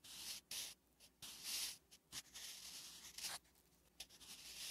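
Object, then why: Graphite pencil on a lined paper notebook page. A wooden graphite pencil writes Korean letters on a flat, solid, lined paper notebook page. Short scratching strokes are heard one after another, bright and hissy, with brief quiet gaps between them.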